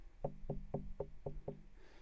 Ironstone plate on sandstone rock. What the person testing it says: if you knock on this has a really Hollow sound